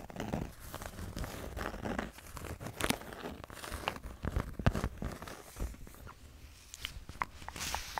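A small notepad with a kraft-paper/cardboard cover is held close to the microphone while long nails tap and scratch the cover and pages and fingertips rub them. Dry, crinkly scratching and rubbing runs throughout, with a soft low rumble and sharp, bright taps standing out.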